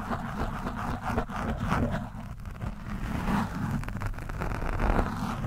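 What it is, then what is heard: Foam microphone windscreen being scratched. A screwdriver tip is scratched and dragged at varying angles over an orange foam microphone windscreen. This produces a continuous, muffled, low rumbling scrape with dense crackling texture and very little high end. The level swells and dips unevenly throughout.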